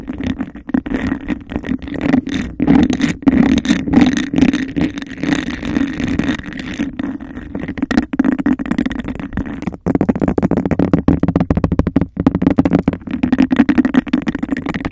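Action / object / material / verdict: scrape / textured glass cup / glass / none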